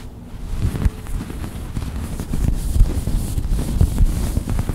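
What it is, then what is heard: Sherpa fleece blanket. Long white acrylic nails and fingertips scratch and drag through the pile of a large, soft, white fluffy sherpa faux-fleece blanket lying flat. The result is a dense, continuous, low, muffled rustling and rumbling, broken by brief soft scratchy bumps. It grows slightly louder as it goes.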